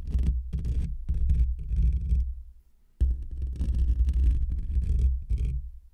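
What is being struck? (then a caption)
Metal wire-mesh microphone grille. Fingertips and short nails of both hands scratch and rub the rounded, hollow black metal wire-mesh grille of a desktop condenser microphone. It produces deep, throbbing low rumbles around 74 Hz, broken into bursts of scratchy friction with faint high hiss above. The rubbing pauses briefly near the middle and then resumes.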